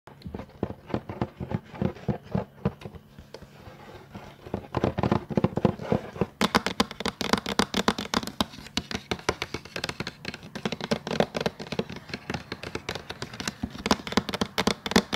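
Fingertips of both hands tap repeatedly across the lit surface of a flat, tablet-sized plastic LED tracing light board with a pink rim and a sheet of paper lying on it. The rapid, irregular, dry taps start softer and duller, then after about six seconds turn louder and brighter with sharper clicks.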